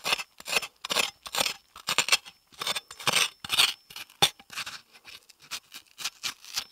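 A steel chef's knife blade scrapes the seeds and inner flesh out of half of a hollow, empty yellow bell pepper held in the palm. Quick, bright, hissing scrapes repeat in a steady run of short strokes with brief pauses between them. The sound is crisp and high with almost no low end.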